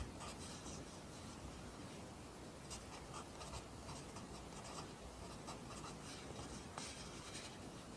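A yellow wooden pencil held in the fingers scratches its graphite tip across the page of an open lined paper notebook lying flat on a desk. The result is a quiet, continuous papery scratching with brief brighter strokes throughout.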